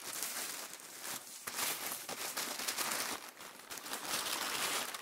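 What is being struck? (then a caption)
Thin tissue paper sheets. Several thin, light sheets of mint green, white and faint pink tissue paper are crinkled, folded and rubbed between bare fingers and palms on a dark surface. A continuous bright, dry crinkling and crackling rises and falls in loudness with no low rumble.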